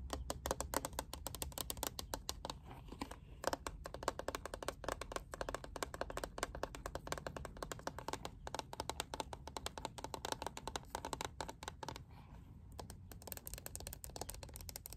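A hand-sized lilac plastic paddle hairbrush with a liquid-glitter back panel and black bristles is held in the hands and tapped with long painted nails. Rapid, continuous, quiet clicky taps with a dry, short decay and a mid-range tone run steadily throughout.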